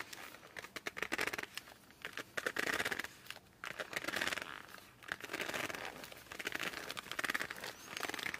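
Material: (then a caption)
Laminated cardboard. Fingertips grip and rub the glossy cover of a laminated cardboard board book held at an angle. The result is a run of quick, dry squeaks and scratchy rubbing bursts that come in uneven clusters, bright and mid-high with almost no low end.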